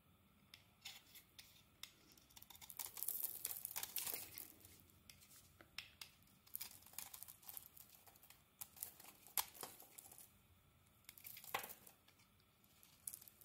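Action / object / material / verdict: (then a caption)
scrape / soap bar shaved with a blade / soap / none. A black and lilac ISANA solid bar of soap is held in the hand while a snap-off blade shaves off its outer layer. Quiet, bright, crisp scraping strokes and short dry ticks follow one another, with a denser burst of shaving around the third and fourth seconds, and little low-end body.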